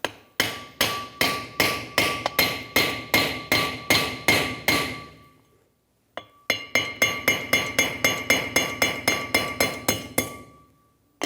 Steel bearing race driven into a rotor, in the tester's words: Once you hear that audible difference, that means it's completely bottomed out.